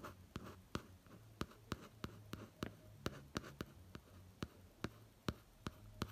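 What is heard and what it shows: Fingertips trace and tap across the laminated cardboard cover of a pop-art hardcover notebook resting on a bed. Short, dry taps land with a low, soft thud and no ring, with a faint scratchy rustle of tracing between them. The whole clip stays very quiet and close.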